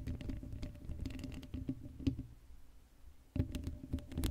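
Long blue acrylic nails on both hands scratch across the hollow black woven metal mesh grille of a Blue Yeti microphone head, with no foam cover. The result is a quiet, dense, low-heavy patter of scratchy taps with a faint steady hum. It thins out in a near-silent gap around the three-second mark, then returns sharply.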